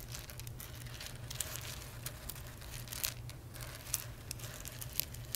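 Fingertips and medium nails rake, rub and scratch through a loose pile of small, hard, dry whole roasted coffee beans spread on a dark surface. The result is a dense, crinkly rustle of shifting beans, punctuated by sharp, bright clicks as individual beans knock together, over a steady low hum.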